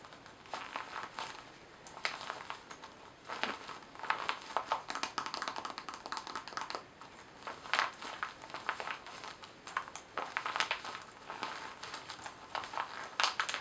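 Long painted nails tap and scratch across the glossy surface of a small, soft, hollow red-and-white paisley zippered cosmetic pouch made of laminated vinyl-coated fabric, which appears empty. Many quick, crisp taps and crinkly scratches centered around 1 kHz come in uneven bursts with brief pauses. There is no low end and each sound dies out almost at once.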